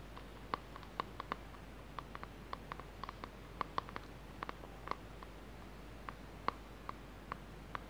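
Fingertips and short nails tap around the sides and lid of a small, hollow, lidded blue plastic tub held in both hands. About 26 quiet, sharp clicks with a ringing tone near 1 kHz and a bright edge are scattered irregularly over a low steady background hum. Each tap dies away almost instantly.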